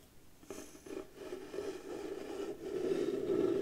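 Long blue nails slowly scratch and rub the flat surface of a round piece of pale wood, likely the lid of a round light wooden box, held against the chest. A soft, dry scraping with a low woody tone around 380 Hz builds gradually in loudness over the clip.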